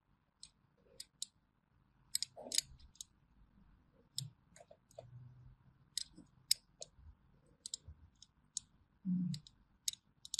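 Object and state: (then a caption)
Bar of soap being scored with a blade. A small thin metal blade scores crosshatch lines into a solid orange bar of hand soap held in the hand, scratching and cutting through it. Quiet, sharp, bright clicks and ticks come in scattered bursts over soft, low scraping and crunching, with brief louder scrapes near the end.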